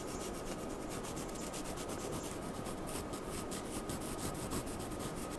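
The tip of a wooden charcoal pencil is drawn across a flat white sheet of drawing paper on a desk in short scratching, stroking lines. The result is a quiet, steady dry rasping rub, with a rapid run of brief bright strokes layered over a soft, grainy low hiss and a faint steady hum throughout.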